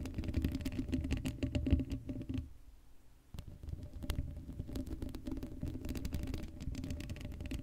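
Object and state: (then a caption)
Metal mesh microphone grille being scratched. Long acrylic nails scratch rapidly across the hollow black steel mesh grille of an uncovered Blue Yeti microphone, making dense, irregular scratchy patter with a heavy low rumble and a faint hum. The scratching pauses briefly near the middle, then resumes at a steady intensity to the end.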